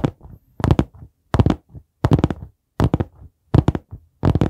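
Fingertips tap on the cover of a dark brown hardcover notebook held upright next to the microphone. The result is quick clusters of soft, dull, low thuds that stop short with almost no ring, repeating in an uneven rhythm with brief pauses between bursts.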